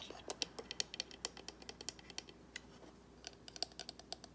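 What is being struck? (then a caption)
Small cardboard box. Fingernails scratch and tap the edges and sides of a small, hollow white cardboard gift box with gold trim. The result is a quiet, rapid, uneven run of dry, bright clicks and light scratches, each dying away almost instantly, with very little low end.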